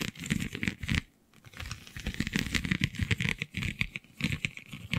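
Long nails scratch across a flexible, iridescent holographic vinyl sheet covered in raised, scale-like bumps, making a dense run of crinkly, ticking scratches. The scratching stops briefly near the one-second mark, then resumes in quick, uneven bursts with bright, crackly detail over a low rumble.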